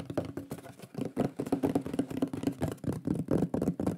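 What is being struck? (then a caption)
Thin flat wooden plaque. A thin, solid, shield-shaped flat wooden plaque with a burned lion drawing is held upright in both hands and tapped quickly with the fingertips and nails. The result is a rapid, uneven run of short, dull wooden knocks with a low, hollow body around 180 Hz and almost no bright edge, each tap dying away quickly.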